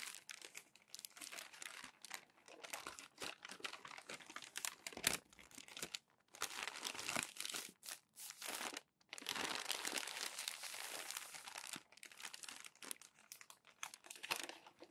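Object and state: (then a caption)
Glossy magazine paper being crinkled and smoothed. Both palms rub across a stack of crinkled glossy magazine pages, smoothing the paper flat. A dense, bright crinkling and crackling comes in uneven bursts, broken by brief quiet pauses, with almost no low end.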